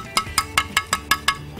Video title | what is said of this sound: ชาววิทย์ชิดชาวบ้าน ตอน ถ่านคุณภาพดี ประโยชน์จากธรรมชาติ | วิธีการสังเกตถ่านไม้ที่ดีก็ไม่ยากเลยครับอย่างแรกคือการฟังเสียงเคาะห์ที่ต้องเป็นเสียงกังวานเหมือนโลหะแบบนี้